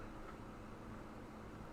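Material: Nothing is struck.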